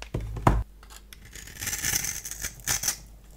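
A solid orange bar of soap held in the hand has its surface scraped and scored with a multi-blade cutter, shedding fine crumbs. A dull, low thump at the start gives way to dry, bright scratching and scraping strokes that rise and fall in short bursts.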